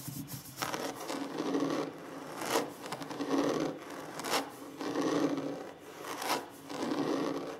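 Scratching and rubbing on a wooden table surface during a slow ASMR session. It's a quiet, dry rasping sound in uneven strokes, each lasting about a second or two, with short brighter scrapes standing out between them.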